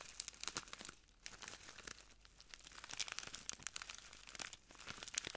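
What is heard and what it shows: A small clear plastic bag full of translucent granules is crinkled and squeezed between the fingertips of both hands. The result is a quiet, bright stream of dense, sharp crackles and rustles, with brief lulls between bursts.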